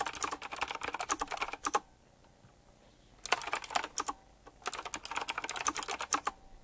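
Fingertips type quickly on a full-size typewriter-style mechanical keyboard with round black plastic keycaps, chrome-look rims and a metallic frame. Three bursts of rapid, crisp, bright clicks, with short quiet pauses between them, and each keystroke dies away almost instantly.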